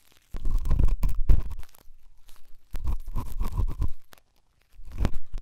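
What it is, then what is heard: Silicone dummy ear scratched with a pen tip. A pen tip scratches and rubs inside the ear canal of the left white silicone dummy ear on a binaural microphone. It makes close, muffled, bass-heavy scraping and crunchy rubbing in three bursts separated by short quiet gaps.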